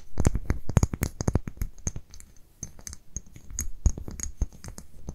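A small amber glass dropper bottle with a paper label is held in both hands while long nails scratch the label and tap the glass. The result is a dense run of quick, dry clicks and scratchy rustles, mostly low and thumpy with faint bright ticks, each tap dying away almost instantly.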